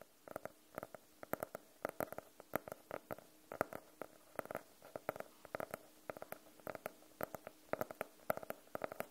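Medium-length nails and fingertips tap and scratch on the navy faux-leather cover of a small, closed hardcover notebook with a solid block of paper inside, held in both hands. Dozens of quick, dry taps in uneven clusters carry a hollow mid tone around 630 Hz, with faint scratching between them. Each tap dies away almost instantly.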